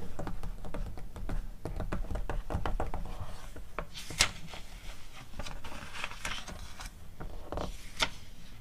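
A glossy paper magazine catalog lies open while long acrylic nails tap and scratch its pages, making quick, crisp clicking taps with short scratchy strokes, and pages are turned with papery rustles. Two sharper, brighter snaps stand out near the middle and the end over a low, steady background.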